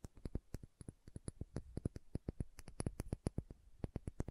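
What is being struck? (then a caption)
Small glass dropper bottle. Long nails tap rapidly on the body of a small dark green glass serum bottle with a dropper cap, making a quick, uneven run of about 32 sharp clicks. Each tap is short and dry, with a low knock beneath a bright tick, and dies away almost at once.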